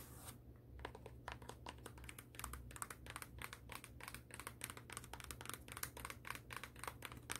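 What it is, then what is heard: Suede high-heel shoe, nail tapping and scratching. Long acrylic nails scratch and tap the matte suede-like upper and the sole edge of a black suede high-heel pump, making a quiet, rapid run of short, dry, crisp ticks and brushing scrapes. The ticks fade almost instantly over a steady low hum.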